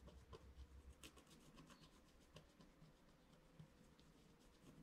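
A flat scratch-art card of wax-coated paper, held down by one hand, is scratched with a wooden stylus in short strokes across its upper right area. Quiet, dry scratching and rubbing repeats in a loose rhythm over a low rumble, with brief bright ticks as the strokes catch.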